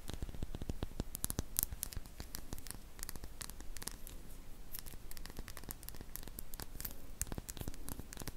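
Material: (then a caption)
Glass. A small glass serum dropper bottle with a silver cap, which appears to hold liquid, is held in both hands and scratched and tapped with long painted fingernails. Rapid, sharp, bright clicks and scratchy rustles follow one another continuously over a low, steady rumble. Each tap dies away almost instantly.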